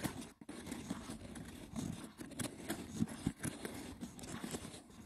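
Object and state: Wicker basket box scratched.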